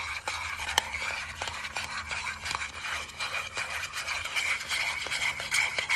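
Fingertips and nails tap and scratch the lid and rim of a small, palm-sized round metal tin with a gold and green lid, likely hollow, held in both hands. A steady, bright, rasping scratch runs throughout, broken by short, sharp metallic taps that stop almost instantly.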